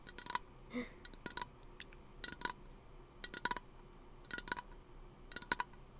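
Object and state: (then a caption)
Aluminium aerosol can tapped with fingernails. A small, hollow teal aluminum aerosol lotion can is held close to the microphone and tapped with fingernails. About six bursts of quick, bright metallic clicks come roughly once a second, each with a brief hollow ping near 1.5 kHz that dies away almost at once. A short, soft tonal sound is also heard near the start.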